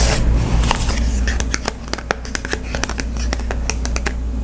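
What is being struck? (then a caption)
Glossy cardboard card holder. A small, flat Visa gift card in its glossy cardboard holder is held in one hand while the fingertips and nails of the other hand scratch and tap its printed surface. Quick, sharp, bright clicks and taps come in an uneven run over a steady low rumble, with soft scratching between them.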